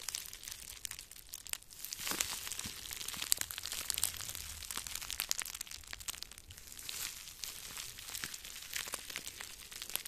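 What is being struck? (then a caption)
Plastic bubble wrap. Two small balls of clear plastic bubble wrap, one held in each hand in front of the microphone, are squeezed and crinkled with the fingers. A dense, steady stream of bright, sharp crackles and snaps fills the clip, with almost no low end and a few louder pops standing out.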